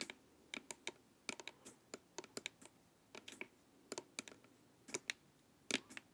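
Long nails tap along the sides of a hollow, glossy plastic LED face mask. About two dozen short, bright, clicky taps come in quick irregular clusters. Each is dry and thin with almost no low end and no ring.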